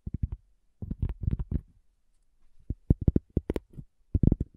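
Long fingernails and fingertips tap a solid, round, flat cork coaster, giving dull, low thuds. The taps come in quick clusters separated by short pauses, and each one dies away almost instantly with no ring.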